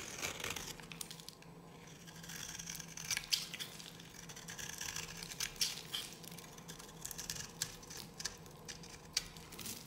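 A solid, dry yellow bar of soap held in the hand is carved with a metal blade, breaking off flakes. The cutting and scratching make a dense run of crisp, bright scraping and crackling sounds with short, dry bursts over a faint steady low hum.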